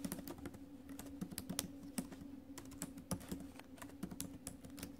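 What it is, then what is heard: Laptop keyboard with plastic keys being typed on. Fingertips and nails tap the plastic keys of a silver metal-bodied laptop keyboard in steady typing. Quick, dry clicks and taps follow one another with bright ticking edges, over a faint steady low hum.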